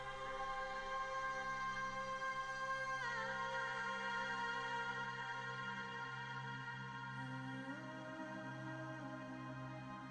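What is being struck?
Nothing is struck.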